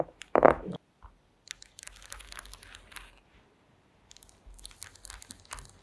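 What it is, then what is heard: Woven wooden placemat. Long acrylic nails tap and scratch across a flat woven placemat of small wooden slats resting on a table. A louder dry crackle comes first, followed by bursts of light, bright clicking and scraping separated by quiet pauses.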